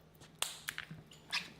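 A shard of homemade sugar Pop Rocks candy, strongly charged with trapped gas, is dropped on the ground and bursts with a sharp, cap-gun-like pop before flying off. Five short, bright cracks are heard with almost no low end and very little ring. The candy is judged possibly unsafe to eat.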